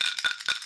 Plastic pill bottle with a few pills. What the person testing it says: that sounds empty bro you've been feasting on those i hear like three